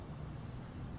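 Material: Nothing is struck.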